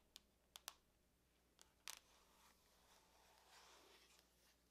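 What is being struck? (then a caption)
Aluminum laptop lid. Long nails tap on the lid of a closed silver aluminum laptop resting on a table, making six sharp, bright clicks with almost no ring. A quiet, airy rustle follows under a faint low hum.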